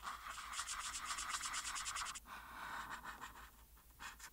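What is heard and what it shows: A marker tip held in the hand scratches and rubs in small circles on a thin printed paper coloring page lying flat and solid on a board. The result is a steady run of rapid, bright, papery scratching strokes, pausing briefly before lighter, sparser strokes resume.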